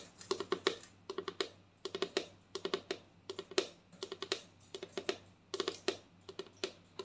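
Long nails tap across the front label of a white plastic lotion bottle with a green cap. Around 35 crisp, clicky taps come in quick bursts, each with a hollow tone near 400 Hz and a bright edge. Each tap dies away almost at once.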